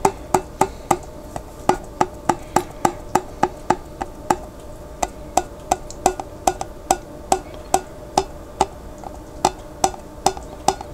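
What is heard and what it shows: Fingertips tap the white plastic lid of a large, clear glass pickle jar that is partly filled with water and held on its side. A steady run of quick, hollow, woody knocks follows, each with a short pitched ring near 370 Hz and a sharp, bright attack that dies away almost at once.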